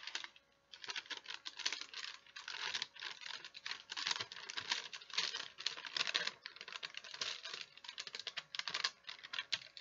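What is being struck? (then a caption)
Thin sheet of wax paper. A thin, folded sheet of wax paper held in both hands is crinkled and folded by the fingers. It makes a dense, bright crackling in quick bursts with short pauses, almost no low end, and each crackle dies away fast. The sound runs steadily for the whole clip.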